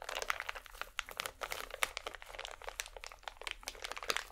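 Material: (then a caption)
Plastic. A small holographic plastic packet is held in both hands and squeezed and crinkled with fingers and nails. The result is a continuous stream of sharp, bright crackles and crinkles, with a little low hum underneath.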